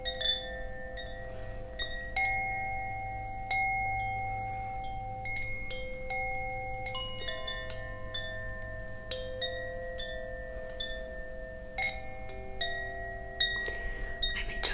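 A bamboo Koshi wind chime, a hollow bamboo tube about 15 cm long with metal rods inside and a wooden clapper disc hanging below, is held up by its cord in one hand and shaken so the rods ring. Bright, overlapping metallic strikes set off layered sustained tones that linger and blend over a soft low background hum. The result is a continuous shimmering wash of chime notes.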